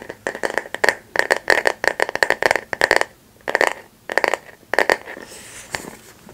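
A flat, light bamboo or wooden paddle hairbrush with a solid back is held in both hands close to the mic while long nails and fingertips tap and scratch its back. Quick clusters of crisp, clicky taps carry a short woody ring around 1.8 kHz, separated by brief pauses. The clip ends in softer, hissy scratching with a few stray taps.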